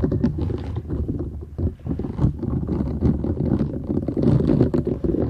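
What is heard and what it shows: Long nails scratch the short bristles of a flat, thin, solid purple silicone scrubber sponge held folded in both hands. The result is a dense, continuous rustling scrape with a heavy low, muffled rumble and little brightness. It dips briefly before building to a fuller texture toward the end.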